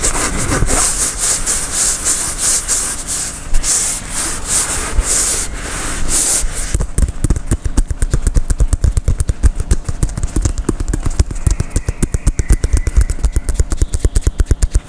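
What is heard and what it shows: Fingertips and nails scratch and rub the synthetic leather (PU) panels of a full-size, inflated, hollow Adidas soccer ball held up beside a mic. For the first seven seconds there is bright, hissy rubbing in long swishes. It then switches to a rapid, steady run of short scratchy taps with low, hollow thumps from the ball.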